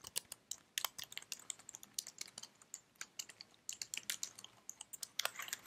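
Fingertips with long red nails type on the keys of a white slim plastic computer keyboard held in one hand. A quick, irregular stream of crisp, bright plastic clicks is heard, each dying away almost instantly, with no low end beneath them.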